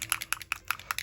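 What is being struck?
Small bottle of wax paint with a mixing ball inside.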